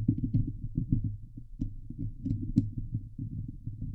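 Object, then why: Steel mesh microphone grille. Long glitter nails of both hands scratch the hollow steel mesh grille of a Blue Yeti microphone. The result is a dense, muffled run of quick scrapes and taps, heavy in low, thumping rumble with almost nothing bright on top. Occasional sharper scratches click through.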